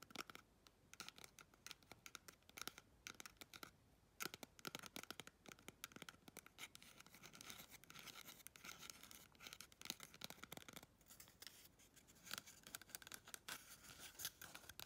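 Long red chrome nails scratch quickly along the surface of a small, hollow, empty brown cardboard toilet paper tube held close. The result is a quiet, dense stream of dry, crackly scratching, mostly high and bright with very little low end, and each stroke dies away almost instantly.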